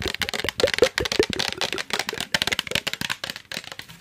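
Fingernails scratch and tap the body and trigger head of a hand-sized, hollow, yellow translucent plastic trigger spray bottle held close to the mic. The result is a rapid, uneven run of short, dry clicks and scrapes with a bright, crisp top and almost no low end, each tap dying away almost instantly. A few of the taps carry a faint hollow tone around 480 Hz.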